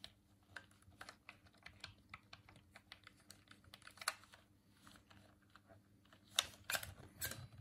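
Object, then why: Plastic game controller. Thumbs click the face buttons and D-pad of a hand-sized, hollow white plastic Dreamcast controller held in both hands. A rapid, irregular run of short, bright plastic clicks plays over a faint low hum, with a louder cluster of clicks near the end.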